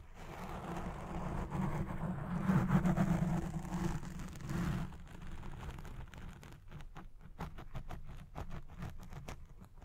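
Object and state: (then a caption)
Foam microphone windscreen being scratched. Fingertips and nails scratch the top and sides of a black foam windscreen on a Blue Yeti Pro microphone, making a dense, low, muffled rustling and rumbling that swells loudest in the middle. It then breaks into quicker, separate scratching strokes in a loose, rapid rhythm.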